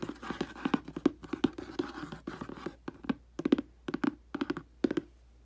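Long dark nails and the tip of a thin black brush handle scratch and trace across a hollow printed cardboard aquarium box lying flat on carpet. Dry, papery scrapes come in quick bursts and short rhythmic clusters, each with a soft, hollow low-mid thump from the box. The strokes fade almost instantly, leaving brief gaps between them.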